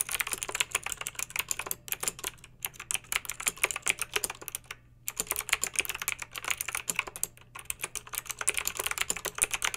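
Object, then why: Plastic mechanical keyboard with round keycaps. Long pink acrylic nails type rapidly on a backlit plastic mechanical keyboard with round plastic keycaps. They make a dense stream of sharp, bright clicks centered around 2.4 kHz, with almost no low end. Brief pauses break up the typing around the middle of the clip.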